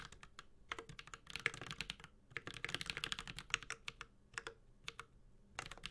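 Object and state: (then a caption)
Mechanical keyboard typing. Continuous typing with the fingertips of both hands on a Space65 Cybervoyager, a 65% metal-case mechanical keyboard with Holy Panda switches and ABS plastic keycaps. It makes a rapid stream of bright, sharp clacks that stop almost instantly, with a light low thock under them and brief pauses between bursts.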